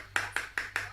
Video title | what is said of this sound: Let's learn STEM and about our world with Sarura Kids | Mummy's Vaseline bottle has a funny sound because it sounds like metal.